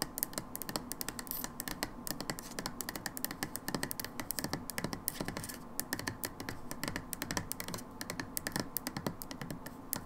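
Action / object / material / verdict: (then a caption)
tap / plastic bottle / plastic / none. Long nails tap quickly on a brown plastic hydrogen peroxide bottle, moving over its label and ribbed edge. The result is a fast, steady stream of dry, clicky taps with bright tops and a soft low body. Each tap dies away almost instantly.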